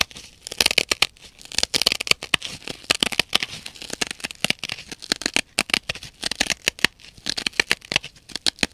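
Long nails repeatedly scratch the blue abrasive nylon scouring face of a hand-sized dry kitchen sponge held in both hands. Dense, bright, crackly scraping bursts come in quick irregular clusters, with almost no low end.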